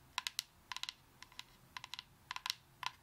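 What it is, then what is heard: Coconut shell tapped with fingernails. Long acrylic nails tap rapidly on the fibrous shell of a whole brown coconut. The taps come as quick, bright, dry clicks in short clusters, each dying away almost instantly over a quiet background.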